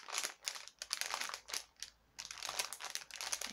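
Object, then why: Thin plastic package filled with fibrous fake web. A clear plastic package with a card header, filled with white fibrous fake spider web and plastic spiders, is crinkled and tapped with nails. Bursts of bright, crisp plastic crinkling and light clicking taps come one after another, with almost no low end and a brief quiet pause midway before the crackling resumes.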